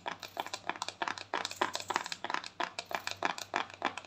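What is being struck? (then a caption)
Plastic cosmetic jar lid. A small round white plastic cosmetic jar is held in both hands while its lid is tapped rapidly with long thumbnails. The result is about 25 quick, dry clicks in an uneven rhythm, each short and bright with a hollow plastic tick centered near 900 Hz and no ring afterward.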